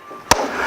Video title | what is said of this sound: How to Assemble Our Raised Garden Beds - Part 2 | when you tap it, you'll hear a thud sound at the end when they're close together